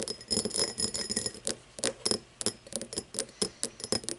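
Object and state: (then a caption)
Cut crystal glass tumbler. Fingernails tap and scratch the sides and star-cut base of an empty cut-crystal glass tumbler lying on its side. A quick, irregular series of short, bright clicks and scrapes, each with a faint glassy ring around 211 Hz and crisp high overtones, decays almost at once.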